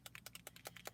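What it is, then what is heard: Paint bottle with a loose mixing ball rattling inside. A bottle of Frost White shimmer paint is shaken, and something inside rattles against it. Eight quick, bright clicking rattles sound in about one second, each dying away almost at once.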